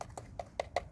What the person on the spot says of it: that sounds plastic